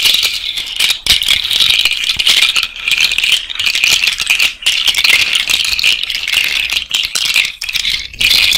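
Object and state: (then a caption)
Cowrie shell bracelet rattling. An elastic bracelet of hollow white cowrie shells and small beads, worn on the hand, is shaken and rattled by fingers close to the microphone. It makes a dense, continuous, bright clattering with almost no low end, broken by a few brief pauses.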